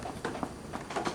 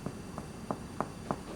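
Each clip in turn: First: dull percussion note over the shoulder blade. Second: hollow percussion note over the lung.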